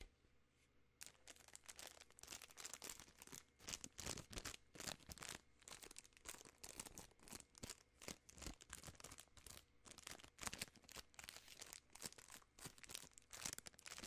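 A full, long Nerds Rope candy in a plastic film wrapper is crinkled and squeezed with fingertips and long nails. After about a second of near silence, dense, bright crackling bursts of crinkly plastic begin and continue steadily to the end.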